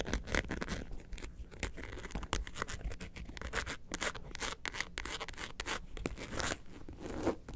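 Long nails scratch the surface of a hollow yellow faux leather bag, seen from the side with its zipper pull visible. A quick run of dry, rasping scratch strokes comes in short broadband bursts, with bright edges over a steady low body and only a brief ring after each stroke.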